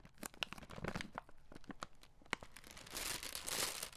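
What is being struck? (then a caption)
Plastic-film candy bag. A red plastic-film Skittles candy bag is held in both hands and crinkled and scrunched with the fingers close to the mic. Sharp, bright crackles and snaps come in quick bursts. They build toward the end into a dense, continuous crinkling rustle.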